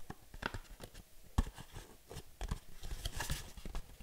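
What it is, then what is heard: Cardboard box tapped and scratched. Long nails tap and scratch on a small, hollow, printed cardboard box held up close. A quick, uneven run of soft, dull taps, mostly low thuds with very short ring, mixes with brief bright scratching and crinkly rasps at a quiet level.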